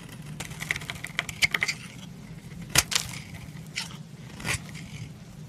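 A solid lilac branded bar of soap, held in hand, is scraped along a steel knife blade, shaving off flaky white curls. A quick series of bright, crisp scrapes and ticks comes in a cluster, with a few louder, longer strokes following over a faint low hum.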